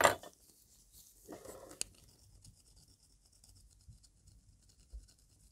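A thin metal pick scrapes and taps the inner and outer surface of a wide, hollow silver band ring held in gloved fingers. A sharp, bright metallic tick opens the clip, followed by a brief midrange scrape and a crisp click that die away almost at once. Faint, high scratching and a soft tap near the end follow.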